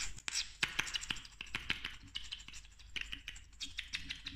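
Long nails quickly tap and click a slim, small, hollow pink plastic lip gloss tube with a metallic cap. About two dozen sharp, dry clicks come in a rapid, uneven run, bright and centred around 2.5 kHz. Each stops almost instantly with no ring, over a faint low background hum.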